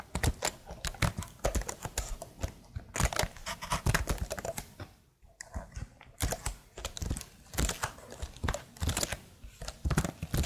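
Long fingernails on both hands tap rhythmically across the keycaps of a tilted plastic laptop keyboard. The result is a steady stream of quick, dry clicks with a soft low thud and a bright tick. There is a brief pause near the middle before the tapping picks up again.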